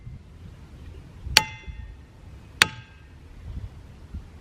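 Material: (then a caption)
Rock. A hammer strikes a boulder in the boulder field at Ringing Rocks County Park in Upper Black Eddy, Pennsylvania, twice, about a second and a quarter apart. Each strike gives a sharp metallic clang followed by a bright, bell-like ring of several layered tones that fades over roughly half a second, over quiet outdoor background noise. The rock rings as these boulders normally do.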